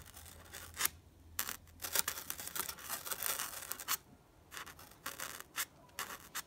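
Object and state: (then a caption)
Styrofoam block. A white, solid styrofoam block with a beaded texture is poked over and over with the sharp tip of a blue wooden pencil, which leaves small holes. The result is a run of short, bright, crackly squeaks and scratchy crunches. They come in quick bursts, with a louder sustained stretch in the middle and brief quiet gaps between.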